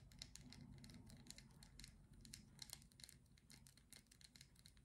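Long glittery acrylic nails tap and scratch the white lid and sides of a small teal plastic cream jar. Quick, irregular, bright clicks and dry scratches sound quietly over a soft low rumble, each tap dying away almost instantly.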